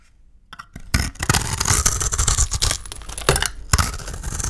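A solid rectangular bar of dry soap painted with blue glitter is held in hand and shaved and scraped with a utility knife blade, chunks flaking off. After a quiet start, a dense run of dry, crackling scrapes and crisp cuts follows, with bright, hissy upper content and soft thuds underneath. Several sharper crunches stand out near the end.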